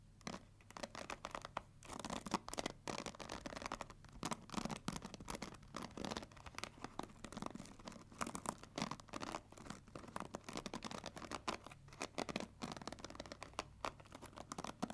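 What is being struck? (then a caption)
Plastic paddle hair brush with plastic pins. Long nails scratch and flick through the black plastic pins of a pink plastic paddle hair brush. The result is a dense, quiet stream of rapid, dry crackling ticks and scratches, with a steady low hum underneath.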